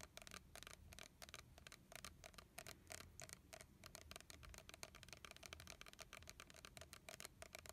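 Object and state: Plastic fragrance mist bottle.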